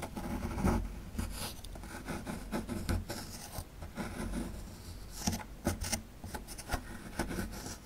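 A metal chisel tool chips and scrapes at the lower right corner of a solid plaster fossil dig block. It makes a steady dry scratching and rasping with short, sharp chipping ticks over a dull low thump, and the bursts die away quickly.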